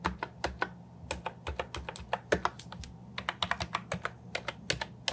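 Fingertips and nails type on a compact Ajazz 308I keyboard with round, plastic, typewriter-style keycaps. The result is a steady, uneven run of short, sharp, bright clicks that die away almost instantly, over a faint constant low hum.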